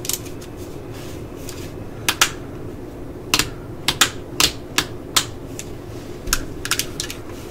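The hollow body of a yellow and black plastic cordless drill is tapped with long nails, producing an irregular series of sharp, bright, clicky taps. Each tap dies away almost at once over a steady low background hum.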